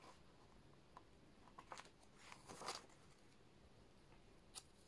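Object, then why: Paper notebook pages. Thin handwritten pages of an open paper notebook lying on a desk are lifted and turned with the fingertips, rubbing and flipping paper against paper. Soft, brief papery rustles and crisp flicks rise out of a quiet background, with the loudest, brightest swish near the middle and a final sharp flick near the end.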